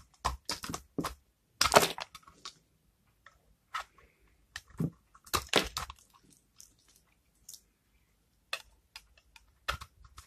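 A utility knife blade scrapes a hand-held, palm-sized oval bar of old, hardened, cream-coloured soap with a brown rancid rind, curling off dry, crumbly shavings. The result is a loose, irregular series of short, dry, crunchy scrapes with bright edges and almost no ring. The solid bar gives a crisp crackle with each pass.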